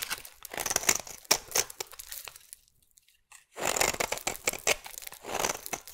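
A metal blade shaves thin curls from the side of a solid oval purple soap bar, making bright, crisp scraping and crinkling bursts with little low end. The scraping runs in two stretches separated by a near-silent pause of about a second.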